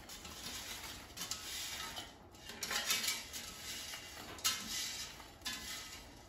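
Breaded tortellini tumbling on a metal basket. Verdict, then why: Crisp. Air-fried breaded tortellini with crisp brown breading are taken out of the air fryer basket and clatter against the metal. The result is a series of bright, sharp, crispy rattles and clinks. The sound is mostly high-pitched, with little low end.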